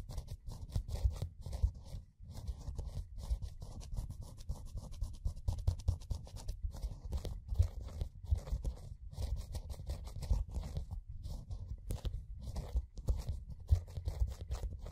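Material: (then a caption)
Metal. A fingertip and fingernail scratch and rub the metal base of a closed metal can bearing a printed red code. The result is a dense, continuous stream of soft scratching and rubbing with a dull, low, muffled rumble and almost no bright content.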